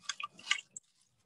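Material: Seed pod.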